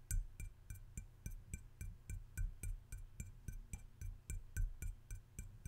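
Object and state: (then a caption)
Ceramic mushroom salt shaker. A hand-sized, hollow, red glazed ceramic mushroom-shaped salt shaker with yellow dots and shaker holes in its cap is held in one hand and tapped on its domed cap with the fingertips and nails of the other. Around twenty quick, somewhat irregular taps sound, each a dull low knock with a bright, clicky tick on top. The taps die away almost at once.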